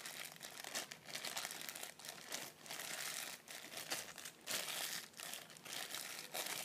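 A clear, thin plastic bag with a white item inside is held close in both hands while the fingers squeeze, crumple and crinkle the plastic. A steady, quiet crackling crinkle is heard, bright and high-pitched with almost no low end. It swells and dips in short bursts throughout.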